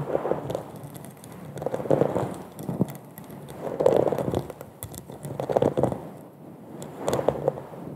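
Long acrylic nails tap and scratch the bowl of a hollow, empty, textured dimpled glass wine goblet held upside down over a fluffy microphone. Dense crackly clicks and scraping rise in loose swells about every two seconds, each carrying a soft hollow ring around 500 Hz.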